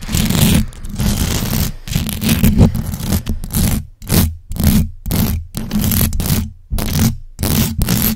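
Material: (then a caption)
Metal mesh. Long acrylic nails scratch the hollow metal mesh grille on the sides and top of a large black USB microphone. The result is a series of fast, rough scraping bursts with a heavy low rumble and a faint bright hiss. The bursts are separated by short silent gaps.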